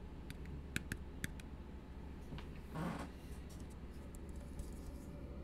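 An empty, hollow blue plastic tumbler held upside down is tapped with the fingertips. Its short, dull taps and light clicks are quiet and brief, sitting over a steady low hum, with a soft rushing swell midway through.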